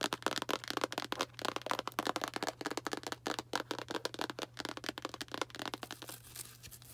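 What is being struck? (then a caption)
Small cardboard box. Long black nails tap rapidly on a small Arm & Hammer cardboard baking soda box, making a dense run of short, dry, hollow clicks over a faint steady low hum. Toward the end the box is lowered, and the tapping fades into a softer, brighter rustle.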